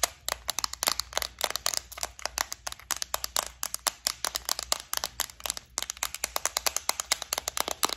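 Long nails tap rapidly on the lid and compartment walls of a flower-shaped clear plastic bead organizer holding gold beads. Around fifty crisp, bright clicks come in quick, uneven bursts with no ring between them.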